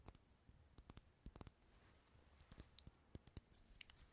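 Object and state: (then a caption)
Glass jar candle. Long fingernails tap and scratch the sides of a small clear glass jar filled with solid green wax. The clip is a quick series of short, sharp clicks with bright edges, separated by soft scratching and a faint low hum underneath.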